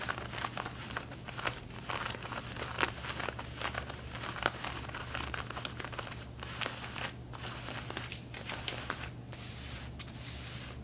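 Long red-painted nails scratch the front pocket area of light blue denim jeans being worn, making quick, dry, bright rasping strokes that overlap into a steady crinkly scratching. A constant low hum runs underneath throughout.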